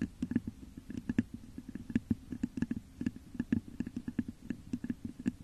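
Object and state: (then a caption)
Glass vase tapped and scratched with nails. Long nails scratch and tap the top of a hollow, textured clear glass vase set upside down over a microphone. A rapid, irregular run of soft taps each gives a short, hollow low thump with a faint bright click, all dying away almost at once over a quiet scratchy texture.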